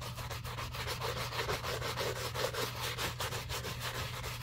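A wooden-handled bristle brush scrubs the side and heel of a hollow, empty black leather shoe covered in soap. The result is a steady, rhythmic wet rubbing: soft, airy bristle strokes with a bright hiss over a constant low hum.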